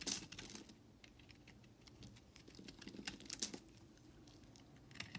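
A utility knife blade scrapes and carves shavings off the edges of a solid white bar of soap held in the hand. The sound is a quiet run of short, bright, crisp scratches and ticks, loudest at the start, near three and a half seconds, and at the end, with little low-end body.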